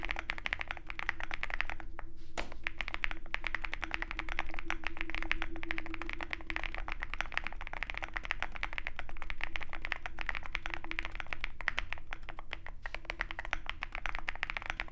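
Fingertips of both hands type rapidly on a compact 65% Zoom65 mechanical keyboard with a dark metal case and white and black plastic keycaps. The result is a continuous, irregular clatter of short, dry key taps with a bright click around 2 kHz over a steady low hum.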